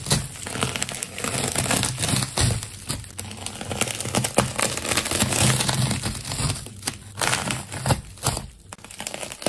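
A metal craft knife cuts through a silver and multicolored layered plastic tape ball. Dense, continuous crinkling and tearing fills the clip, with bright crackle over a low rumble and brief louder bursts as the layers give way.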